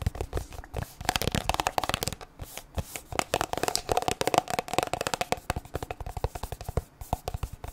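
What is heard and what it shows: Long nails quickly tap and scratch a white plastic squeeze tube of sunscreen with a blue cap, which appears full. The result is a dense run of dry, clicky taps and scratchy rasps with a faint hollow tone around 730 Hz. The taps come in quick bursts with short pauses between them.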